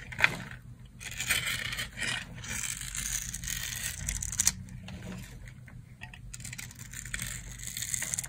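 A solid rectangular bar of dry pink soap, held in the palm, is cut into thin strips with a metal knife blade. Dry, crunchy scraping and cracking sounds come in bright, gritty bursts, with a few sharper snaps standing out.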